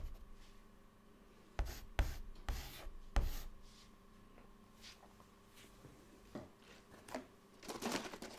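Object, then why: White chalk on a chalkboard. White chalk held in the fingertips writes words and dots on a black chalkboard panel, making short, dry scratches and sharp taps that stand out from near silence. The strokes come in brief, separated bursts with bright scratchy edges, over a faint steady low hum.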